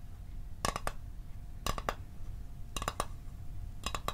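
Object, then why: Small hollow metal mint tin. A small hollow metal Altoids mint tin, held near the mic, is tapped with the fingertips and nails in four quick clusters of light taps about a second apart. Each tap gives a short, bright metallic clink with a tinny ring near 1.2 kHz that dies away almost at once, over a faint low background rumble.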